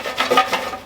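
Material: Fried chicken.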